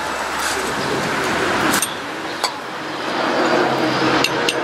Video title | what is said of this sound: CARRIER BEARINGS REPLACED, STEP BY STEP, TRICKS YOU NEED TO KNOW | the tapping's getting uh more dense it's not as tingy it sounds pretty pretty seated to me